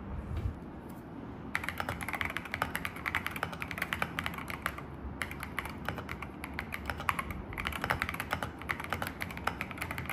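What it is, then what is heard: Mechanical keyboard with plastic keycaps. Fingertips of both hands type continuous key presses on an assembled full-size mechanical keyboard with grey, white and yellow plastic keycaps on AKKO V3 Cream Yellow Pro switches in a dark metal case. Rapid, short, bright clacks come in three runs of typing separated by brief pauses, over a steady low rumble.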